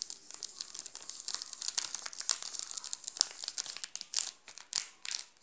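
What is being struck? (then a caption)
Plastic chocolate bar wrapper. Fingers crinkle the shiny yellow plastic wrapper of a full, sealed Garoto chocolate bar, then a flat hand presses down on the wrapper. The result is a dense, bright, crackling rustle with almost no low end, and it swells into a few louder crinkling bursts toward the end.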